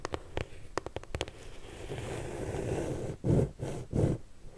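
Long nails tap and scratch the lid of a closed, medium pink corrugated cardboard shipping box, then move to the front side while the box is held. A quick run of light, crisp taps gives way to a steady papery scratching, followed by three louder, deeper rubbing bursts near the end.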